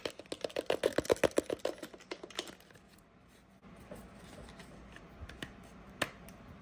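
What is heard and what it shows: Long nails tap and scratch the body and nozzle of a medium-sized, hollow white plastic Plum Silky pump spray bottle, which likely has liquid inside. About 18 quick, hollow-sounding clicks come fast for the first two and a half seconds, with a tone around 465 Hz. A softer scratching hiss follows, broken by a few isolated taps near the end.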